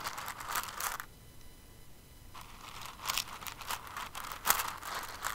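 Fingers with long nails dig into and stir a pile of plastic rhinestones in an open clear container, making a bright, crisp rattling and crinkling. The clatter drops to near silence for about a second, then returns as soft shuffling broken by sharper clicking bursts.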